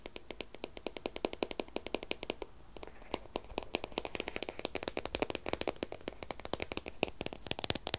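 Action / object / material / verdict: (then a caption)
tap / shrink-wrapped cardboard product box / cardboard / none. Fingertips and nails tap and scratch along the top and edges of a long, narrow white cardboard Apple Pencil box, shrink-wrapped in plastic film, closed and hollow with the pencil inside, as it is held and lies in place. Quick, dry, bright clicks fall in a rapid, uneven stream with a faint crinkly scratching underneath. There is a brief lull just before the three-second mark, then the tapping resumes just as densely.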